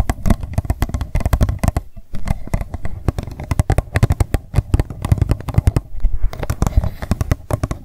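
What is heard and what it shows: An empty, hollow pink plastic cup lying on its side on a table is tapped rapidly on its rim and sides with long nails. The result is a fast, uneven stream of short, dry clicks and knocks with a deep, hollow body, each dying away almost instantly, with brief pauses between bursts.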